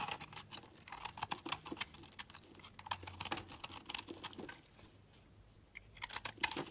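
A solid, speckled pastel oval bar of multicolored soap is held in the hand and carved and scraped with a utility knife blade, so chunks crumble off. The sound is a quiet run of quick, dry, bright scratches and crisp little clicks. They fall in irregular bursts with very little low end, and there is a softer lull in the middle.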